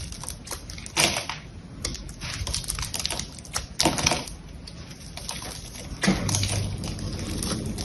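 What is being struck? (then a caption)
Bar of soap cut with a small blade. A small knife or blade scrapes and carves into a solid, hand-sized rectangular bar of soft green soap held in one hand with long yellow-painted nails, flaking off chips. Dense, crisp ticking and scratchy scraping runs throughout, with brighter, louder bursts of cutting around the 1, 4, and 6 second marks.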